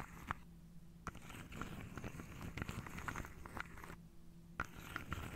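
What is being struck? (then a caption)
Wooden dominoes in a wooden tray. Long painted nails run over and tap the tops of upright wooden dominoes packed into a hand-sized carved wooden tray held on the lap. Soft, dry scratching mixes with sharp, short clicks over a steady low hum, and a few taps stand out louder than the rest.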